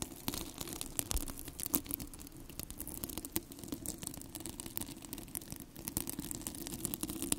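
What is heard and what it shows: Fingertips and long nails scratch and rub the plastic hook-and-loop surface of two identical yellow hollow cylindrical velcro hair rollers, one held in each hand close to the microphone. The result is a steady, dense crackling rasp with many sharp, bright ticks and snaps over a soft low rumble.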